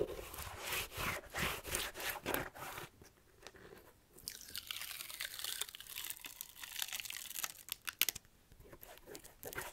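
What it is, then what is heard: Rubber shoe sole. Fingernails scratch and tap the rubber tread sole of a black slipper shoe held upright close to the mic. Bright, crunchy scratching comes in quick, uneven bursts, then a brief quieter pause. A longer stretch of rasping scratches follows, with a few sharp taps near the end.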